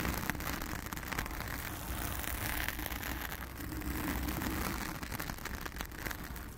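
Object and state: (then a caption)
Foam microphone windscreen being scratched. Long acrylic nails of both hands scratch a blue foam windscreen covering a round studio microphone. The result is a steady, dense scratching and rustling texture with many fine crackly transients over a heavy, muffled low rumble, and only a little bright hiss on top.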